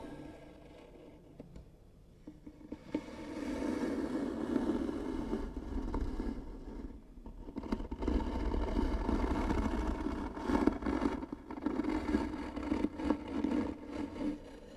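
Long nails scratch hard across the grooved surface of a light, likely hollow wooden box, starting quietly and building into bursts of rough, rasping scraping. The strokes have a hollow, woody tone centered in the low-mids, with short dips between passes and no lingering ring.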